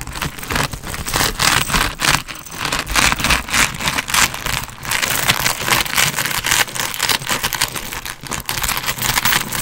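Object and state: Quilted leather handbag.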